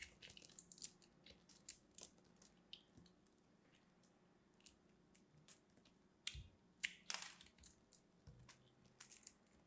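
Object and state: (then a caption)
Dry hard soap, crunchy. A small, solid piece of purple dried hard soap is pinched between red-nailed fingers over a pile of soap crumbs while a metal blade slices and scrapes it. The result is a quiet, irregular series of crisp, crunchy, crumbling cuts, bright and high with very little low end. Each snap is sharp and dies away almost instantly.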